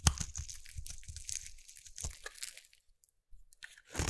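A small metal blade scrapes a partly carved solid red bar of soap held in the fingertips, shaving off curls. The result is a run of soft, dry, crunchy scrapes with low thumps and a bright crisp hiss. The scraping pauses briefly before a final louder stroke.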